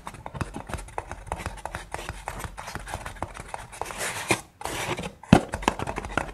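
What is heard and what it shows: Long painted nails tap and scratch the side wall of a single hollow brown kraft paper cup. Rapid, dry, papery clicks come in a steady stream, mixed with brief scratchy brushing bursts. There is a short pause just past the midpoint and one sharper, louder tap near the end.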